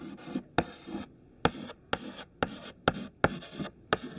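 A thin white chalk stick held in the fingertips writes lines of text on a black chalkboard. About eight sharp taps, each followed by a short, dry scratching stroke, are separated by brief pauses. The scratches carry a bright, gritty edge over a soft midrange body.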